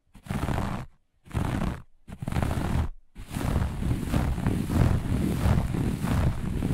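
Long nails on both hands scratch quickly across a flat looped grey-beige carpet, making a rough, low, rumbling scrape. Three short bursts with brief pauses lead into steady, unbroken scratching that runs to the end.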